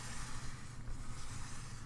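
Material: Nothing is struck.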